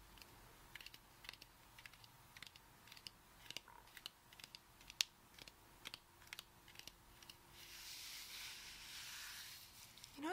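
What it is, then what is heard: Whole coconut tapped with fingernails. Long acrylic nails tap the front of a whole brown coconut with a fibrous shell, held in one hand, making about twenty short, sharp, bright clicks at an uneven pace over a faint steady hum. Near the end the taps give way to a soft, bright, hissing wash lasting about two seconds, and the clip closes with a brief rising tone.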